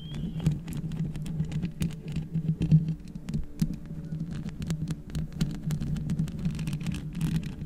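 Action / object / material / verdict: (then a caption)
tap / metal mesh microphone grille / metal mesh / none. Long red nails on both hands scratch and tap fast and continuously on the hollow metal mesh grille of a black microphone. A dense stream of quick, crisp clicks and scratchy patter rides over a steady low hum. It forms a busy, unbroken texture with brief louder taps.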